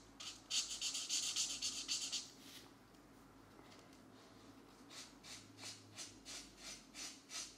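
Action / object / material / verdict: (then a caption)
scrape / felt-tip marker on a paper colouring page / paper / none. A green felt-tip marker scratches and rubs across a paper mandala page in a coloring book, filling in an area. About two seconds of dense, bright scratching give way to a brief quiet pause, then a run of short, evenly paced high strokes.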